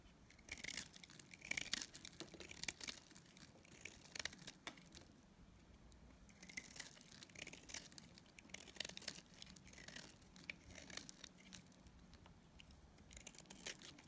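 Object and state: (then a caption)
Soap bar being shaved with a blade. A utility knife blade cuts flakes off a solid, dried lilac soap bar held in the hand. The result is a quiet run of crisp, bright scraping and crinkling bursts with very little low end.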